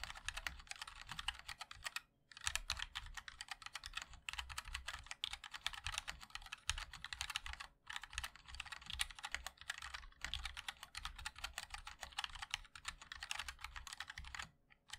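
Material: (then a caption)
Aluminium, plastic. Fingertips of both hands type continuously on a MOD-L 60% mechanical keyboard with a black aluminium case, white and black ABS keycaps and linear switches. Rapid, bright clacking taps carry a low, thocky undertone. Brief pauses fall around 2 and 8 seconds and near the end.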